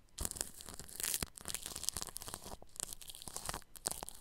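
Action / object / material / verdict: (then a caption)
scrape / plastic cling film stretched over a microphone grille / plastic film / none. A bristle paintbrush brushes over clear plastic cling film stretched across a round microphone grille. The strokes give a continuous run of bright, crinkly, scratchy rustling with sharp crackles, like plastic being crumpled or torn.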